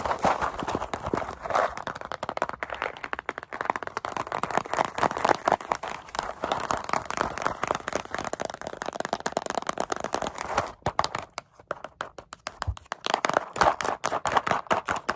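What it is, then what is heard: Cardboard snack carton. Long acrylic nails tap fast on a small, hollow paperboard Goldfish cracker carton held in both hands. The result is a dense, continuous stream of short, dry taps with a hollow midrange tone around 800 Hz. About ten seconds in, the tapping briefly thins and pauses before it picks up again.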